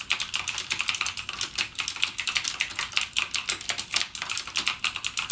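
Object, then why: Plastic mechanical keyboard with clicky switches. Fingertips type continuously on a backlit mechanical gaming keyboard with plastic keycaps and clicky Cherry MX Blue switches. A rapid, steady stream of sharp, bright clicks is heard, each dying away almost at once, with very little low end.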